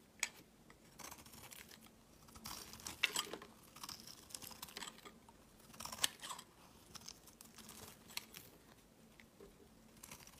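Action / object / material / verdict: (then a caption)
scrape / bar of soap scraped with a blade / soap / none. A metal utility blade scrapes and shaves curls off a solid white oval bar of soap held in the hand over a woven mat. The sound is a quiet, dry, bright scratching and crinkling in irregular strokes. A few sharper, crisp clicks stand out above the steady shaving.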